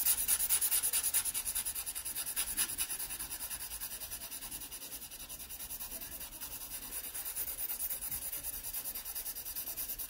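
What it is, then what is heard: Pencil shading on sketchbook paper. A wooden pencil held flat under the hand makes broad side strokes across a pear drawn on an open paper sketchbook page, rubbing the paper. The result is a steady, rhythmic, bright scratchy hiss of repeated strokes that dips slightly in loudness midway before swelling again.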